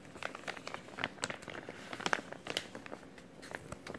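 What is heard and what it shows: Fingers flex and crumple a clear plastic zip-lock bag, a thin-film resealable bag with a green tab. The result is a quiet, steady stream of crisp, dry crinkles and sharp crackling snaps, bright and papery with almost no low end.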